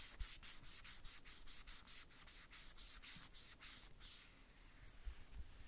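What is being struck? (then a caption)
Small hollow plastic toy boot. A white cloth or wipe wrapped over the fingertips rubs and wipes the small hollow red plastic boots of a Woody doll held in the hand. A quick run of bright, hissy scrubbing strokes fills the clip, with faint low thumps underneath, and the strokes grow softer and more blurred toward the end.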